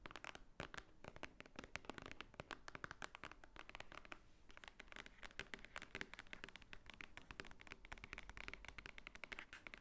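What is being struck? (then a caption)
Thick paper book block. Long nails tap and scratch across the top of a large, thick, solid block of white paper pages. The result is a quiet, rapid stream of dry, crisp clicks and papery scratching with no ring, spread evenly from low thuds to bright, high ticks.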